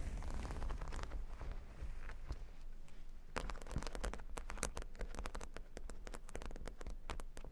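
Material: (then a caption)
Plastic. Long nails scratch and tap across plastic faux-pearl beads covering a square cork board. It makes a dense run of quick clicking patter over a low rumbling rustle, and the taps grow sharper and more distinct in the second half.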